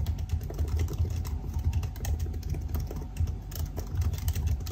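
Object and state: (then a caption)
Laptop keyboard with plastic keys. Fingertips type steadily on the black plastic keys of a silver aluminium laptop keyboard, producing a rapid, continuous stream of soft key taps. Each tap is short and dull with a deep, muffled low thud, and faint bright clicks tick over the top.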